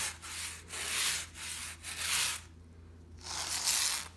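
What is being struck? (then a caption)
Shag pile fabric rug brushed with a plastic bristle brush. A small white plastic bristle brush is rubbed and scratched quickly across a brown and black patterned shag pile rug, giving about five bright, hissy scrubbing strokes. A short pause comes before the last, longer stroke, and a faint steady low hum runs underneath throughout.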